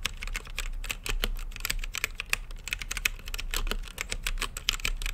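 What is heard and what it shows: Fingertips type quickly on a green-lit mechanical keyboard with plastic keycaps set in a clear acrylic case. The result is a steady stream of crisp, bright clacks centered around 3 kHz, each dying away almost instantly over a faint low background hum.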